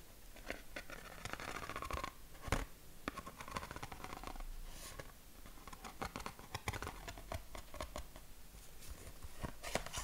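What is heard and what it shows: Fingertips and short nails tap and scratch across the ridges of a flat, hand-span-wide yellow corrugated cardboard sheet held against the chest. The result is a quiet, irregular stream of crisp, dry taps mixed with soft, raspy scratching strokes.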